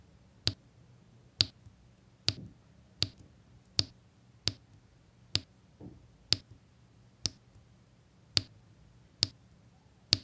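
A pink drill pen with a metal tip taps small square resin diamond-painting drills into place, set in rows on a flat adhesive canvas. Twelve light, sharp clicks with a high, bright tone come at a slow, slightly uneven pace, each dying away almost instantly over a faint low hum.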